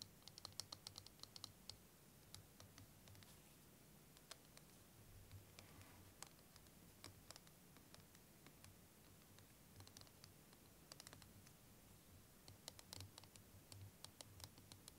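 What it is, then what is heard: Plastic liquid timer. Fingernails tap and scratch a clear, curved, hand-length plastic liquid timer filled with green and blue liquid while it is tilted. Quiet, sharp, bright clicks come in scattered bursts over a soft, steady low hum, each tap dying away almost instantly.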